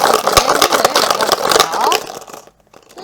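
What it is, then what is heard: Plastic bottle containing a few glass marbles. Five glass marbles rattle inside a plastic PET bottle as it is shaken so their force can be felt on the palm, as a model of gas pressure. The rapid, bright clattering lasts about two seconds, then fades out to near silence.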